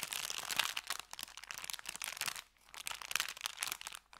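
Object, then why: Brown kraft paper bag. An empty, folded brown kraft paper bakery bag is held in the hands and crinkled and squeezed with the fingers. Dense, bright, crackling crinkles fill the clip, pause briefly around the middle, then resume.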